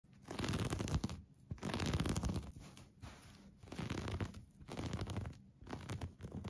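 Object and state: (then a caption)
Crochet yarn blanket scratched. Fingertips and short nails scratch a colorful granny-stitch crochet yarn blanket lying soft and flat on a couch beside an orange pillow, with a metal bangle on the wrist. The result is repeated bursts of dull, low-heavy scratching and rustling with brief quieter gaps between strokes.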